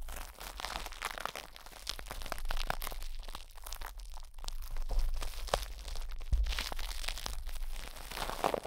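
Plastic cling film wrapped around a hollow metal mesh microphone head is pressed, squeezed and scratched with fingertips and nails. The result is a dense, continuous stream of close crinkling, crunching and scratchy rustles with sharp crackles. Strong low-frequency thumps and rumble from the handling sit underneath.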